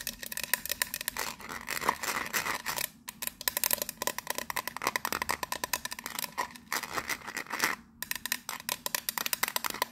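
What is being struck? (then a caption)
Metal biscuit tin lid. Long nails rapidly scratch and tap a teal metal lid with raised rings and a gold emblem, resting on a hollow biscuit tin. The result is a fast stream of sharp, bright clicks and scratchy rasps with a metallic ring around 1.8 kHz that dies away almost instantly. Two brief pauses break up the run.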